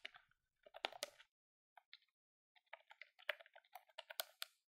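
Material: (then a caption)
Plastic. Fingertips with long nails rapidly tap the colored keys of a hand-held silver-grey plastic desktop calculator with a hollow housing. Quick bursts of dry, bright plastic clicks with a hollow midrange knock near 600 Hz come in uneven clusters separated by brief pauses. Each click dies away almost instantly.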